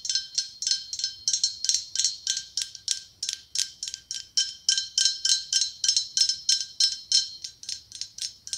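Fingernails tap rapidly on the ribs of a hollow, ribbed, white blown-glass pumpkin with a gold stem, about 39 quick taps over nearly nine seconds. Each tap is a bright, high, glassy click with a very short ring and no low end, in a fast, slightly uneven rhythm.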